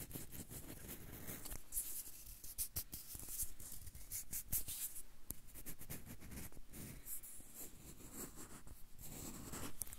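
Fingertips rub and tap the peel of a whole yellow banana held in both hands close to the recorder. Soft, steady scratchy rubbing mixes with light taps and bright crackles over a low, muffled rumble, continuing at a quiet level throughout.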